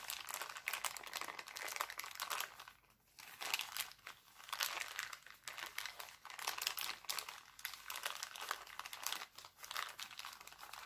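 Hands scrunch and crinkle an empty, thin, clear cellophane bag printed with hearts. The result is a dense, bright crackling with almost no low end, rising and falling in bursts, with a brief quieter lull around three seconds in.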